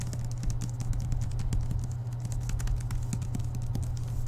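A book with a paper and cardboard cover is tapped quickly with the fingertips, giving a rapid run of light, dry, keyboard-like taps that each die away almost at once. A steady low hum sits underneath the whole time.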